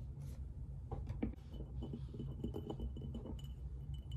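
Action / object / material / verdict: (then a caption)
tap / ceramic mug / ceramic / none. Fingernails tap the glazed surface of an empty, hollow white ceramic coffee mug with a hen print on one side, held in the hands. The taps come in a quick, uneven series of light clinks with a chime-like ring that fades fast. They sit over a steady low hum and a faint thin tone.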